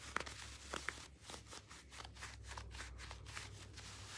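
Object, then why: Thin leather gloves. A pair of thin, soft, hollow black leather gloves is worn on both hands as the gloved hands rub together and the fingers flex against each other. Quiet leather rubbing and creaking follows, with a few sharp squeaks near the start and then a steady run of soft, bright scuffs. A low, constant hum sits underneath throughout.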